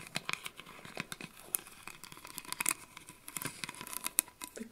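A round gold metal lid with an embossed maple leaf is tapped and scratched with long acrylic nails. It makes a quick, uneven run of short, bright clicks and dry scratching that stop without ringing.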